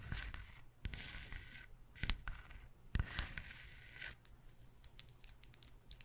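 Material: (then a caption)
Wood. A round, solid wood log slice coaster with a bark edge is held in one hand and turned while long nails tap and scratch its cut surface and edge. Bright, hissy scratching strokes alternate with quick, sharp taps over a low, quiet rumble. The taps cut off almost instantly with no ring.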